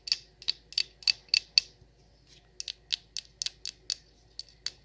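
Long nails tap and scratch the wax sides of a large wax pillar candle, making sixteen short, dry clicks that are bright and high. The clicks come in two quick runs, with a soft scrape in the gap between them. Each click stops almost at once, with no ring.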